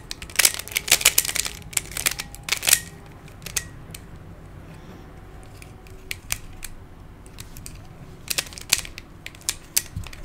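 Fingertips twist the layers of a hand-sized black plastic Pyraminx, a pyramid twisty puzzle with coloured stickers and a hollow mechanism. It makes rapid, bright plastic clicks, dense in the first three seconds, then a quieter pause, then scattered clicks toward the end.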